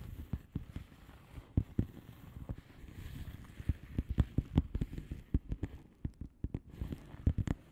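Long fingernails of both hands tap a flat blue plastic bubble wrap padded envelope with air-filled bubbles. The result is a quick, irregular run of soft, dull, low taps that die away almost instantly, with a faint hiss between them.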